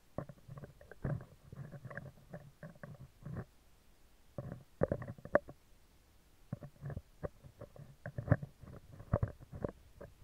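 Metal tweezer tips scratch the lower part of a hollow, round steel wire-mesh microphone grille, making bursts of dry, low, rumbling scrapes with short clicky ticks. The scratching comes in clustered runs separated by brief quiet gaps.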